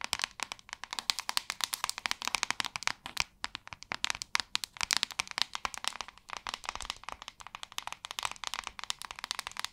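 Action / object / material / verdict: tap / plastic paddle hairbrush / plastic / none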